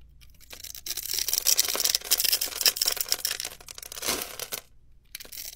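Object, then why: Bar of soap scraped with a metal blade. A metal utility knife blade scrapes and carves a grid into a solid, hand-sized blue bar of soap with an embossed logo, held in one hand, flaking off small cubes. The sound is dry, crisp, bright scraping and crackling in uneven bursts, almost entirely high in pitch with no low end. A brief pause near the end precedes a final softer scrape.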